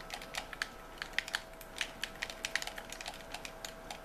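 A white plastic game controller held in both hands has its buttons and triggers clicked continuously with thumbs and fingertips. The result is a rapid, uneven stream of short, sharp, bright plastic clicks that stop instantly, with little low end, over a faint steady tone.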